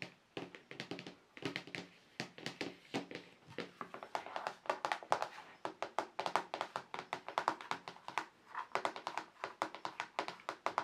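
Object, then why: Plastic paint palette tray. Fingertips and short nails from both hands tap rapidly and irregularly across a large, flat white plastic paint palette tray with dried paint on it. Each tap is a short, dry click with a bright edge and almost no ring, centered around a mid pitch near 850 Hz. The taps come in quick bursts and clusters with brief pauses between them.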